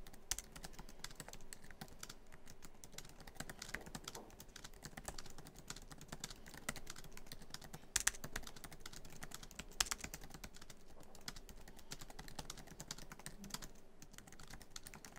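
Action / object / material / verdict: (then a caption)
tap / laptop keyboard with plastic keys in a metal body / plastic / none. Fingertips of both hands type quickly across many black plastic keys of a MacBook Pro keyboard set in a silver aluminum laptop body. The result is a steady, dense stream of short, dry clicks and taps with a soft low thump beneath bright clicky tops. Each click dies away almost instantly.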